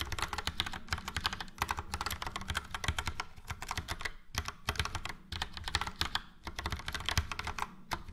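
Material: Plastic.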